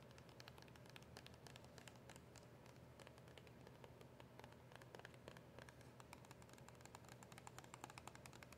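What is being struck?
Small cardboard box with plastic window.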